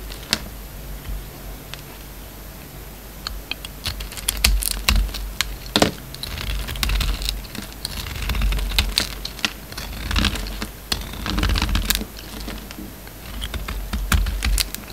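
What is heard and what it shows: A hand-held solid rectangular Marseille soap bar, black with gold dots outside and white inside, is carved and scraped with a utility knife blade, making flakes. Dense, crisp scraping and clicking strokes come in uneven bursts, with bright crackly transients over a low rumble.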